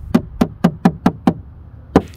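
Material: Plastic.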